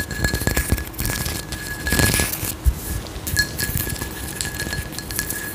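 A frosted, textured glass candle jar with a white lid is held in one hand while long nails tap and scratch along its raised geometric pattern. Quick, dry clicks and scratchy rasps run throughout, with a steady thin tone underneath and a few sharper taps standing out.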